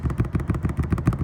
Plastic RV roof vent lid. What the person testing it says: I'm just barely tapping on it. I'm tapping on with my pinky, so I'm not hitting it hard. This thing just sits there and rattles.